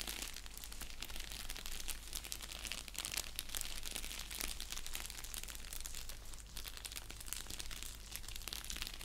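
Fingertips and nails scratch and press an orange padded bubble mailer envelope resting on a blanket. The result is a continuous, bright crinkling and scratching texture with no distinct pauses, over a steady low hum.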